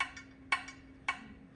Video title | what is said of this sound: Michael Ryan Bell - CBS VA - Pot Appreciation - February 2024 - Club Meeting - Baikoen Bonsai Club | where this chip is, right here, thuds just a little bit more than it does down here